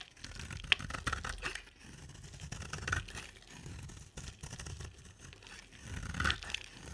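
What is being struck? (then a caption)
Soap bar shaved with a blade. An oval, solid pink bar of soap with a black glitter rim is shaved with a utility knife blade, and the pink flakes pile up. Dry, crisp scraping and crumbly tearing sounds run continuously, with a low rumble underneath and bright, sharp accents near the start and the end.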